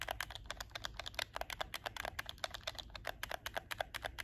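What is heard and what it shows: Fingertips and nails quickly tap and click the L/R shoulder buttons of a hollow black plastic PS4 game controller held in both hands. About thirty short, dry plastic clicks follow one another rapidly, each with a bright snap and almost no ring, over a faint low hum.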